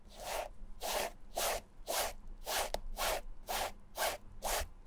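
A dark foam sponge applicator is rubbed back and forth over the striped canvas upper of a Vans slip-on sneaker, dabbing and rubbing the fabric. The result is a steady series of dry, zipper-like scrubbing strokes at roughly two per second, each a breathy rasp with a midrange body that brightens into high hiss, separated by short near-silent gaps.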